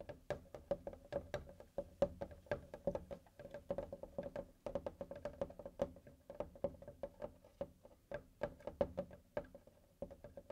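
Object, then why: Melamine whiteboard with plastic frame. Fingertips of both hands tap and drum on the surface of a medium, solid, thin flat whiteboard with a melamine-type surface and plastic-edged frame, lying on a table, near its top edge. Dozens of quick, dry, hollow knocks come in an irregular drumming rhythm, each with a faint tone around 570 Hz and almost no ring. The knocks are quiet and muted, with no bright high end.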